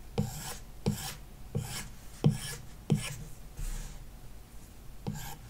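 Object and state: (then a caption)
Stylus scratching a matte-film tablet screen. A plastic stylus tip is dragged in short shading strokes across the glass screen of an iPad lying flat on a wooden desk, the screen likely covered by a matte paper-like protector. Six quick, dry rasping scratches are heard, each with a soft low thud at the start and a bright scratchy hiss that fades quickly. The strokes come at an uneven pace, with a longer pause before the last one.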